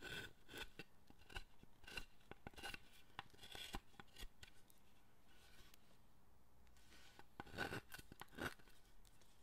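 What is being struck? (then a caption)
Wooden statue and steel chisel. A steel chisel carves a solid, light wooden statue held in the hand, cutting and scraping its torso in repeated short strokes. Crisp, dry scraping and cutting sounds come in quick bursts, with a faint ring near 1.5 kHz. The strokes ease into a quieter stretch midway, then a few sharper cuts follow.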